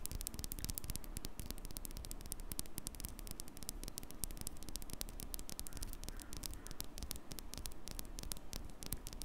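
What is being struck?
Metal microphone mesh grille.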